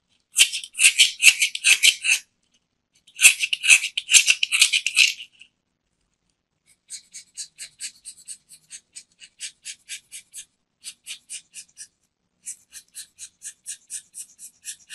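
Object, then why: Solid soap bar. A metal craft knife scrapes across the face and edge of a small, round, solid white soap disc held in the fingers, making bright, crisp scratching with no low end. Two dense bursts of rapid scraping come first, then a pause, followed by a steady run of quieter, evenly spaced short scrapes to the end.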